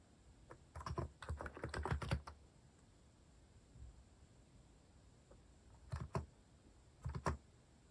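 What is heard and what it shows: Fingertips type on a compact, white-cased Hanmumu mechanical keyboard with cat-themed plastic keycaps. A quick flurry of keystrokes in the first two seconds is followed by a quiet pause, then a few more short bursts near the end. Each press gives a short, deep, muted clack with little high-end brightness.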